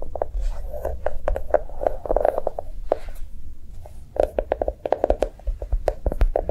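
A notebook made to look like chocolate is tapped quickly with light, rapid taps. Each tap is soft and short with a midrange knock and almost no ring, over a low steady hum. A brief lull near the middle comes before the tapping resumes.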